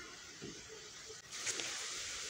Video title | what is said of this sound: गोल गरगरीत बुंदी रेसिपी - How to make bundi recipe - cooking Queen Kalpana - | असं हलवलं की बुंदीचा आवाज येतो एक वेगळा आवाज येतो त्यामुळे लगेच कळत की ही बुंदी आपली तळून झालेली आहे